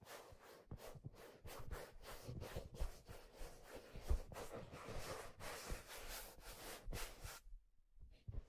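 A hollow, empty black leather fedora is held by the brim and rubbed and handled with the hands. The result is a quiet series of soft, breathy swishes and scuffs over dull low thumps. After a short pause near the end, a few faint rustles follow.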